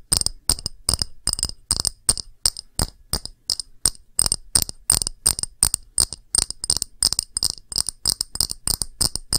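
An empty, small, round clear glass dish with a textured face is tapped with long nails. Quick, irregular bursts of bright, sharp clicks and clinks carry a thin high ringing tone that dies away almost instantly.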